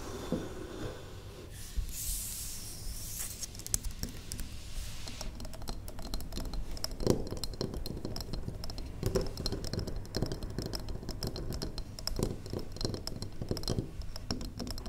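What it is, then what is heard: Wax pillar candle. A large, square, solid wax pillar candle is tapped on its side with the long nails of one hand. The result is a steady flurry of quick, dry, light clicks and taps that die away almost instantly, over a soft low hum, with a brief brighter scratchy hiss near the start.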